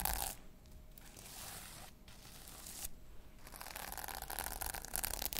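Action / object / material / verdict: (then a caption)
scrape / sequin-covered fabric pouch / sequins / none. A small flat pouch covered in pink sequins is held in one hand while long nails scratch and brush across the sequins. The result is a dense, crackly scraping and rustling with bright, hissy upper tones. Louder bursts come at the start and again near the end.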